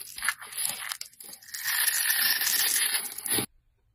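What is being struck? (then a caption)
Bar of soap cut with a blade. A box-cutter blade carves and scrapes thin shavings from the surface of a solid red oval bar of soap with an embossed brand, held in hand. Short, uneven scratchy strokes in the first second and a half give way to a steady, bright, hissing scrape that stops abruptly just before the end.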